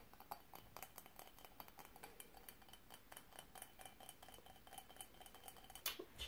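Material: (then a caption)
Glass. A small, hollow, empty bowl-shaped candle holder covered in colored glass mosaic tiles, with a metal-trimmed rim, is held in the hands and tapped with long painted fingernails. The steady, rapid, light clicking taps are bright and dry, dying away almost at once. A few sharper, louder taps come near the end.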